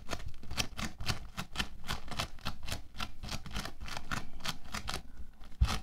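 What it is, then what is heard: Bead foam clay crunching. Orange bead foam clay (playfoam) is squeezed in the fists, then spread flat and rubbed with the fingertips on a white table. Quick, dry crunches and crackles of the beads come in a steady run of short bursts, bright over a low rumble.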